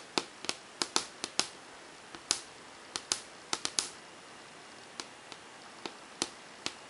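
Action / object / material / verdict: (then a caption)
tap / melamine whiteboard / melamine / none. Long painted fingernails tap rapidly on the blank, hard, smooth glossy surface of a large flat wall-mounted melamine whiteboard, a thin panel, with the rings on the fingers not touching the board. Nineteen sharp, bright clicks land in irregular bursts, each dying away almost at once with no low thump beneath.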